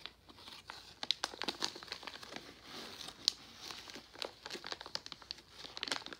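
A medium resealable Jolly Rancher Gummies plastic foil pouch, partly full of gummies, is held and squeezed with fingertips. It gives a dense run of bright, dry crinkles and sharp crackles that stop dead, with almost no low end.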